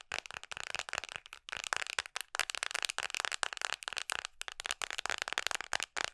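Long nails tap rapidly on a red hard plastic phone case fitted on a smartphone held in both hands. The result is a fast, dense stream of dry, sharp, bright clicks with no low end and almost no ring, broken by a few brief pauses.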